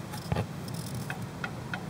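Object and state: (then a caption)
Worn sway bar end link with excessive play. A worn steel sway bar end link ball joint is moved by hand, producing a series of light ticking knocks over a low background hum. The joint has excessive play both in and out and side to side, and will need replacing soon.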